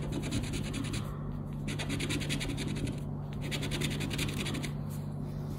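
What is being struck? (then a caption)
Paper scratch card scraped with a plastic scraper. A round black plastic scraper scratches a thin paper scratch card (Roda dos Prémios) resting on black cloth. Rapid, bright scraping strokes come in bursts with short pauses between them, over a steady low hum.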